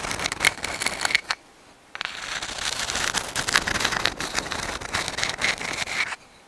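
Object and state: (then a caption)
Sand dollar shell. A dried white sand dollar, a palm-sized, thin, flat and hollow calcium carbonate skeleton held in both hands in front of the microphone, is scratched and tapped with long acrylic nails. Bright, dry, crackly scratching and quick taps fill the first second or so, stop briefly, then resume as steady raspy scraping with sharp clicks until shortly before the end.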